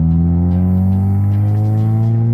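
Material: Nothing is struck.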